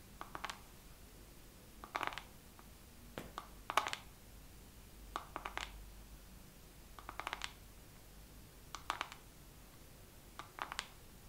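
A makeup palette is tapped slowly with long nails in short clusters of quick, clicky taps separated by pauses of a second or more. Each tap is dry and dies away almost instantly, centered in the mid range around 1.2 kHz with some bright edge. A quiet, steady low hum sits underneath throughout.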